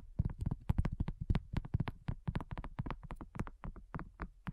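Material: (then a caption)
Silicone. A thin, solid, flat round pink dotted silicone coaster is tapped fast with the long nails and fingertips of both hands. The result is a quick, irregular patter of dull, low, dry taps with bright clicky edges and no ring after each hit.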